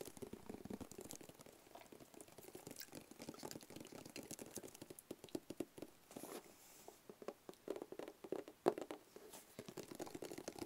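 A medium, hollow black cardboard box with a label is scratched and tapped with nails and fingertips. The result is a quiet, dense run of quick, dry taps and scratchy rustles with a hollow mid-low body around 370 Hz and short, sharp attacks that die away almost instantly.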